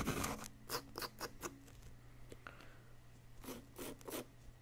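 A small wooden chisel, held by the fingertips, scrapes a solid yellow-green plaster dig-kit block in a series of short, dry, bright scraping strokes. The strokes come in quick bursts separated by quieter gaps over a faint steady low hum.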